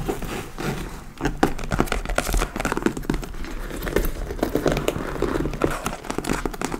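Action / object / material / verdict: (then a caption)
scrape / leather handbag / leather / none. Long nails on both hands scratch across the top flap and upper front panel of a hollow, dark-brown leather (possibly faux) handbag. The result is a steady run of dry, crinkly rasps and quick scratchy strokes over a soft low rumble.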